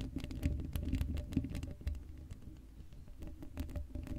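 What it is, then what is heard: Metal mesh microphone grille being scratched. Long blue acrylic nails on both hands scratch across the hollow, black woven metal mesh grille of a Blue Yeti microphone head with no foam cover. The result is a dense, irregular patter of short, dry scratches and taps, heavy in the low end with a faint steady hum, swelling and fading over about four seconds.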